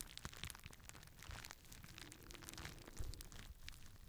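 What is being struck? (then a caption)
Plastic bubble wrap sheet. A clear plastic bubble wrap sheet is held in both hands while fingers squeeze and pop the bubbles. Quiet, continuous crinkling is broken by short, sharp pops and bright crackles over a low, muffled rumble. A louder pop stands out near the end.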